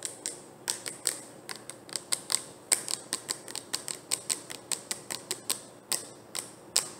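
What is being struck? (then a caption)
Plastic screw-lid jar. Long dark-painted nails tap on the orange screw lid and body of a medium round plastic jar of leave-in conditioner, held in the hands, closed and likely full. About 28 sharp, bright clicks come at an uneven pace, each dying away almost instantly. There is almost no low end.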